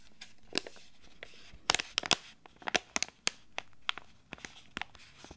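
A small, flat foil-laminate face-mask sachet with a sheet mask inside is held in both hands while fingertips and nails crinkle and squeeze it. The result is a quick, irregular series of crisp, bright crinkles and crackles. Each one snaps off sharply over a faint background hiss.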